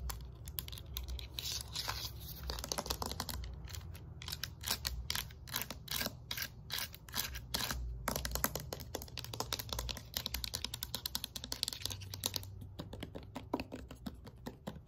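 Fingertips and nails tap rapidly on the yellow surface of a thin, flat, hard plastic exercise slider disc. The result is a fast, dense stream of sharp, dry clicks that are bright and die away almost instantly, with a soft low rumble underneath.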